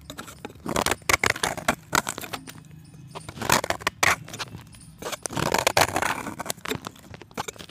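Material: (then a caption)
Chalk. A solid white, palm-sized pressed chalk disc is scraped along its edge with an orange-handled box-cutter blade. The sound is a run of dry, gritty scrapes and crackles with bright edges and brief pauses between the strokes.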